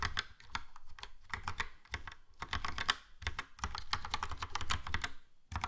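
A Logitech POP Keys plastic mechanical keyboard, with a yellow plastic case and round black and grey plastic keycaps, is typed on with the fingertips. It produces a steady run of short, crisp clacky taps with bright clicks over a low thud. The keystrokes come in quick bursts separated by brief pauses.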